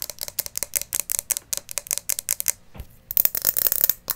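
Long nails tap a small hollow glass terrarium bowl, part filled with white pebbles and a plant, while it is tilted so the pebbles rattle inside. Rapid, crisp, bright clicks with almost no ring break briefly for a soft low bump, then return in a denser, sharper burst.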